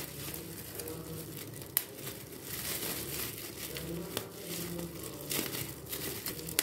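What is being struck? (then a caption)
Plastic bubble wrap sheet. A large clear plastic bubble wrap sheet with air-filled bubbles is crinkled while bubbles are pinched and popped with fingertips. Steady crinkling and rustling run throughout, with sharp, bright pops standing out above a low background rumble.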